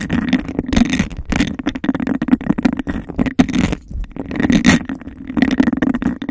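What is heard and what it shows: Long acrylic nails tap and scratch fast and aggressively on the outer surface of an empty, hollow, clear glass cup with a bubbled texture that is placed over the microphone. Dense, rapid clicks and rough scraping blend with a hollow, boxy resonance centered in the low-mids, with brief bright bursts on the sharper strokes.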